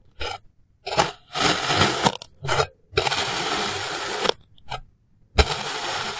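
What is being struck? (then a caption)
Molded kinetic sand cut with a plastic knife. A clear plastic knife slices small, solid molded shapes of yellow kinetic sand into thin layers, cutting and scraping through them. Bright, gritty, crunchy scraping bursts, some short and some drawn out over a second or more, are separated by brief silences, with a faint low thump at the start of some strokes.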